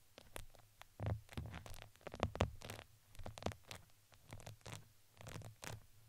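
Two wooden skewers scratch a red, fuzzy, crinkly fabric ring fitted around a microphone head. The result is a series of soft, uneven scratching and crinkling strokes with a low, rumbly body and brief bright edges.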